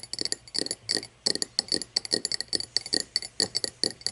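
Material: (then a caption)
Crystal glass. An empty, tall cut-crystal glass tumbler standing upside down on wood is tapped on both sides with long painted nails. The taps come in quick, uneven bursts of bright, glassy clicks with a thin, high ping that dies away almost instantly. There is very little low end.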